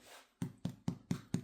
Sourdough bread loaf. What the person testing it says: It sounds a bit hollow, which is all good.